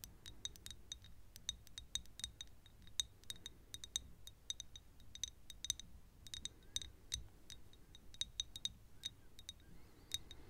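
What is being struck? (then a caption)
Small thick glass perfume bottle. Long nails tap and scrape a small, thick glass perfume bottle that is partly full of yellow liquid and tilted sideways. The result is a quiet, rapid series of short, bright clicks with a glassy ring near 3.7 kHz that dies away almost instantly, over a soft low rumble.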